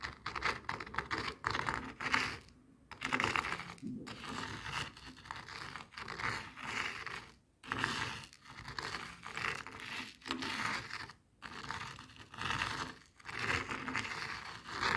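Coarse bath salt grains spread on a white plastic cutting board are rolled over and scraped with a jade face roller. The result is a dense, gritty crunching and scratching, bright and crackly, in quick bursts broken by brief pauses.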